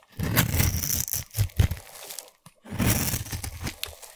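A utility knife blade scrapes the surface of a solid, partly shaved orange bar of soap held in one hand, shaving it into dry, crumbly flakes. Dense, crunchy scraping and crackling with a strong low-end body comes in two passes separated by a brief silence, with bright tearing texture on top.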